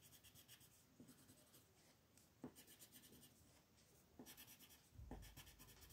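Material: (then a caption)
Paper. A yellow-orange wooden colored pencil rubs and scratches across a flat white paper mandala sheet in repeated coloring strokes. The quiet, steady, scratchy rasp carries bright hiss and pulses with each stroke, with a few sharper scratches standing out.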